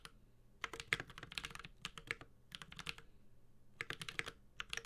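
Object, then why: Mechanical keyboard, plastic keycaps on a metal case. Continuous typing with the fingertips of both hands on a Space65 Cybervoyager, a 65% mechanical keyboard with a metal case, Holy Panda switches and ABS plastic keycaps. Bursts of short, sharp, bright clacks centered around 2 kHz come in quick runs with brief pauses between them, and each keystroke dies away almost instantly over a faint low hum.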